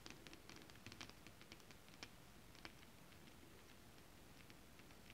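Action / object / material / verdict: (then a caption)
tap / holographic scale-print fabric / fabric / none. Long acrylic nails tap and scratch across flat, holographic scale-print mermaid scale fabric. A quiet, irregular run of soft, crisp clicks with bright, papery scratching sits over a faint, steady low hiss, with each tap fading almost instantly.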